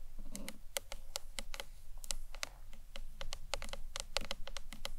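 Long nails tap the front face and corners of a hollow green marbled acrylic box clutch, giving quick, sharp, bright clicks with a hollow ring around 555 Hz. About 23 taps fall in an irregular, steady run over a low background rumble.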